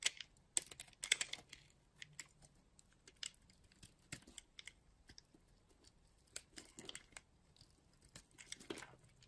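A metal blade cuts and scrapes a small, solid piece of white bar soap held in the fingers. The result is quiet, irregular, bright, crisp scrapes and crunchy little cuts with very short decay and almost no low end.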